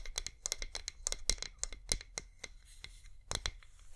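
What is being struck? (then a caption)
Wax pillar candle. Long nails scratch and tap a wax pillar candle, a flameless LED one with its flicker light on. A quick, uneven run of sharp, bright clicks and scrapes sounds over a low, steady hum, each hit dying away almost at once.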